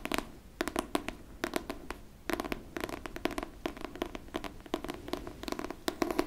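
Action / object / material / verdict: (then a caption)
tap / hardcover book / cardboard / none. Long pink nails tap and scratch the cover and top edge of a pink hardcover book. The clip is a quick, irregular run of short, dry clicks and light scratching with a faint mid-range tone and almost no ring. The taps come in clusters separated by brief pauses.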